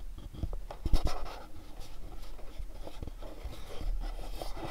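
Fingernails tap and scratch on a pink cardboard candle gift box with a dark red back panel. Soft, dry taps and scratchy rubbing are heard, with a stronger cluster of taps near the one-second mark and low thuds underneath.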